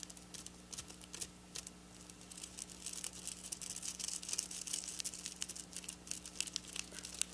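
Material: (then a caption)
Sequins. Long black nails scratch and pinch at the rows of a flat silver sequin fabric. The result is a quiet, dense stream of bright, crinkly clicks and scratchy rustles that grows busier partway through, over a faint steady low hum.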